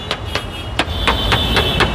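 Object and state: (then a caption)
Original unrepaired car body panel. A series of light taps on the right-side steel body panel of a used Toyota Harrier gives short, tinny sheet-metal ticks with a bright ring over a steady low background hum. The tinny sound shows the panel still has its original factory paint and has not been filled with putty and repainted.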